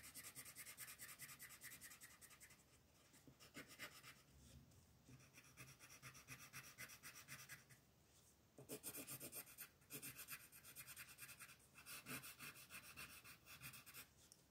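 A green colored pencil shades the background of a flat paper coloring page in quick, repeated strokes, while the free hand with long red nails rests on the sheet. It makes a dry, bright scratchy rasp that swells and fades with each stroke. Brief quieter pauses break up the bursts of shading.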